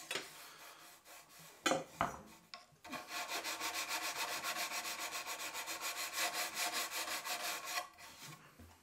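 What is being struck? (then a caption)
Beech wood shoehorn blank. A solid beechwood shoehorn blank clamped in a bench vise is scraped and shaved by hand with a small hand-held steel tool. After a few scattered scrapes and knocks, a long run of quick, repeated strokes rasps along the wood surface with a bright, dry hiss. The scraping then trails off.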